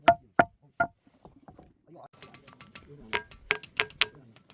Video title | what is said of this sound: 천하명당 밀양 만어사, 바위에서 종소리 나는 신비한 사찰, #소원돌, #전설의 돌의자, | 바위를 두드리면 맑은 종소리가 나서 만어산 경석이라고도 부르는데